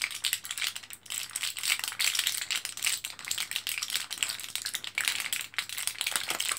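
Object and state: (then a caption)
Blister pack of capsules. An orange plastic-and-foil blister card of vitamin capsules is held in both hands and pressed with the fingertips, making the capsules rattle. The result is a steady stream of bright, crinkly clicks and rustles with almost no low end, swelling and easing in short bursts.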